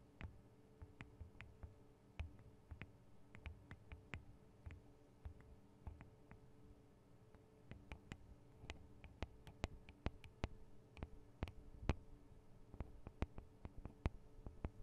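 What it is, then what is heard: Metal microphone capsules tapped with nails. Long acrylic nails tap the small hollow metal microphone capsules, with their metal guard wings, on a Tascam DR-40 recorder. The result is a quiet, irregular stream of sharp, dry clicks with almost no ring, set over a steady low hum. The taps grow louder and brighter in the second half.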